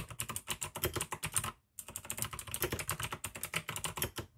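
Fast fingertip typing with both hands on a full-size pink AUKEY mechanical keyboard with plastic keycaps and clicky blue switches. A rapid stream of crisp, bright clicks with a low thock under each keystroke is broken by a short pause of about a quarter second near the middle before the typing resumes. Each click dies away almost instantly.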